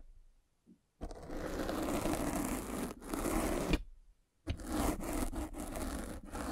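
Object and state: Foam microphone cover being scratched.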